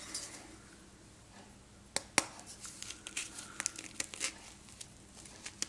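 A small, solid block of reformed, pressed gym chalk is held over a pink bowl and crushed and rubbed between fingertips and thumbs, so dust and crumbs fall into the powder below. After a quiet start, a run of dry, bright crunches and crackles follows, with the sharpest snap near the middle. It ends in soft, crumbly rustling.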